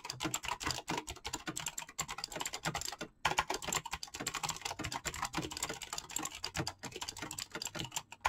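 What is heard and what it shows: Fingertips type rapidly on a full-size backlit mechanical keyboard with PBT plastic keycaps. They make a dense, continuous stream of bright, crisp clicks and clacks, with a brief pause near the three-second mark. The keystrokes are short and dry, with little low end.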